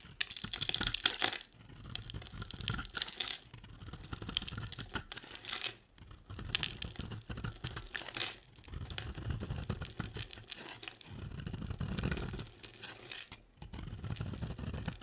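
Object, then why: Bar of soap. A box-cutter blade scrapes and cuts into an oval, solid cream bar of dry soap held in the hand, shaving it into crumbly flakes. Dense, bright crackling and crisp scraping come in long strokes, broken by brief pauses, with a soft low rumble underneath.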